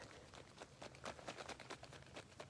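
An aerosol can of spray wax, used to soften painted fabric, is shaken by hand, giving about ten quiet, dull rattling clicks in a steady rhythm. The rattle continues throughout, so the contents are still unmixed.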